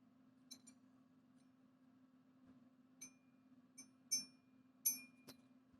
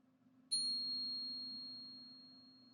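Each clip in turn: First: fake silver bar. Second: genuine silver bar.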